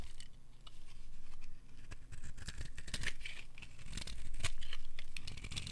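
A solid oval bar of dry blue soap held in the palm is scraped repeatedly along its edge with a metal utility knife blade. The result is a steady run of short, dry scratching strokes with bright crackly shavings over a low rumble.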